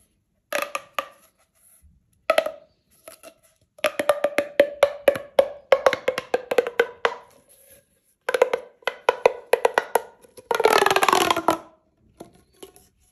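A single red, hollow, corrugated plastic pop tube is held in both hands and compressed, stretched and bent by fingers with long nails. It gives off bursts of rapid, dry clicking pops with a woody, hollow tone around 555 Hz and very little ring. A denser, noisier crackle comes near the end.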